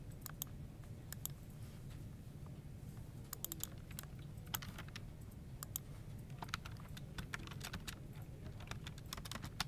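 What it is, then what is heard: Plastic computer keyboard. Both hands tap and press the keys of a dark, full-size plastic computer keyboard with a hollow plastic body, typing steadily with the fingertips. Short, bright clicks sound irregularly over a constant low rumble, each dying away almost instantly.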